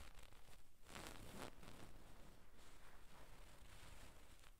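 Long pink nails scratch across a soft, stuffed gold-brown satin damask cushion with tassels, using both hands. The result is quiet, continuous rustling and scratchy swishes, with a brighter, louder sweep around the first second and a half before settling into softer repeated strokes.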